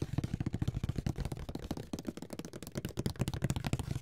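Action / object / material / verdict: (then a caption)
tap / cardboard board game box / cardboard / none. A closed, flat, hollow grey Monopoly cardboard box is held in the hands and tapped on the lid with fingertips and nails. Rapid, irregular taps make dull, hollow, low thuds with short, dry decays and only faint bright clicks.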